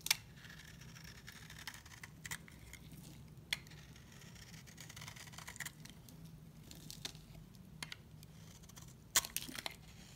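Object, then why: Bar of soap cut with a knife blade. A solid white bar of dry soap, held in the hand, is carved and scraped with a steel utility knife blade, shaving off flakes. Quiet, dry scraping is broken by scattered sharp, bright ticks and crackles, with a louder cluster near the end. A low hum sits underneath throughout.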